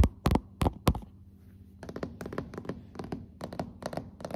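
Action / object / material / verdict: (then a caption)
tap / hardwood floorboards / wood / none. Long acrylic fingernail tips and fingertips tap on glossy dark solid hardwood floorboards in build-up tapping. Four heavy, dull thumps come first, then after a short pause a quicker run of lighter taps with bright clicky edges. Each tap dies away almost at once.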